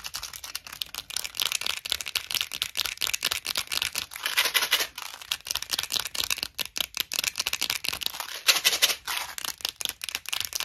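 Long nails tap and scratch the top and lid of a small, clear plastic Tic Tac box full of mints. A dense run of quick, bright clicks mixes with raspy scratching, all sharp and high with no low end and almost no ring.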